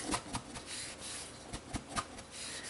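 A metal bundt pan holding a freshly baked, still-warm apple cake is shaken and turned, producing soft rubbing and scraping with five dull knocks as the cake shifts inside. The cake comes loose from the pan.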